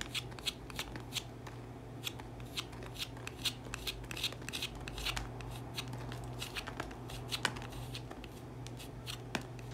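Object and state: Bar soap being scraped.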